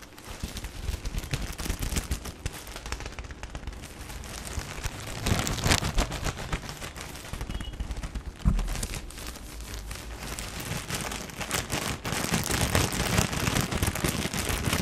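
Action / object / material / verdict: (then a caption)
scrape / tissue paper pack in thin plastic film / plastic film / none. A full, medium-sized soft pack of tissue paper wrapped in thin plastic film is held in both hands and squeezed, crinkled and tapped with the fingertips. Dense, rapid crackling and crinkling runs throughout, with soft low thumps underneath and bright film rustle on top. It swells into louder bursts around the middle and in the last few seconds.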